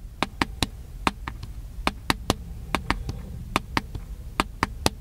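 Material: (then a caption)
Plastic. Fingertips tap the body of a small black handheld plastic camcorder, making 17 short, dry clicky taps in an uneven rhythm. Each tap is a sharp, bright transient that dies away almost instantly over a faint low background hum.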